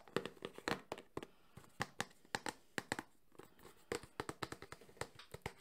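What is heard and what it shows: Fingertips and nails tap rapidly across the faces of a small closed cardboard Samsung phone box. Quick, dry, hollow knocks land in an uneven run, each with a short papery click and almost no ring, centered around a mid tone near 390 Hz with bright nail ticks on top.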